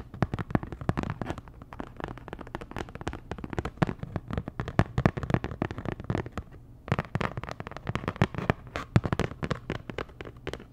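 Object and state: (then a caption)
Cardboard packaging card tapped with nails. Long nails tap rapidly on a flat, postcard-sized printed cardboard Dior packaging card, making a dense stream of short, dry clicks with a dull low thump. The taps stop briefly near the middle, then resume at the same quick pace.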